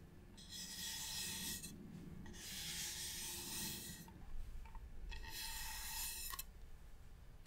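Fingertips and nails rub and scratch the surface of a medium, hollow, varnished wooden box. Bursts of bright, hissing scratching come and go over a low, steady rumble, with a few small knocks in between.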